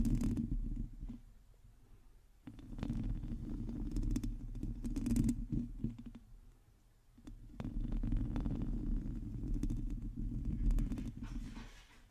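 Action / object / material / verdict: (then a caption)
scrape / metal mesh microphone grille scratched with fingernails / metal mesh / none. Long acrylic nails scratch the hollow metal mesh grille of a black microphone, producing a dense, low, rumbling scrape with faint crackly transients. The scratching comes in sustained swells with quieter lulls in between, staying heavy in the low end with almost no high content.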